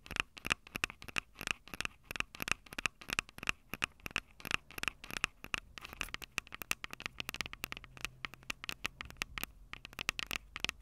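Long acrylic nails tap rapidly on the metal-grilled microphone capsules of a Tascam DR-05 handheld recorder, a small, hollow plastic-bodied device. Each tap is a quick, bright click with a faint metallic ring near 2.6 kHz that dies almost instantly. The taps come in uneven bursts over a quiet background.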